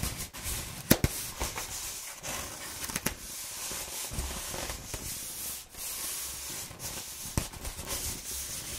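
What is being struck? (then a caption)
Rolled corrugated cardboard tube. A corrugated cardboard sheet with its flutes exposed is rolled into a hollow tube and held in the hand while fingers and nails rub along the ridges. The result is a steady, rough, bright scratching and rubbing texture, broken by a few sharp, crisp clicks that cut off almost instantly.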